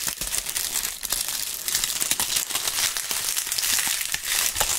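Handfuls of dry brown autumn leaves are crushed and crumpled between gloved fingers right beside microphone capsules. The result is a dense, continuous crunching and crackling that is bright and dry, with almost no low end and no lingering ring.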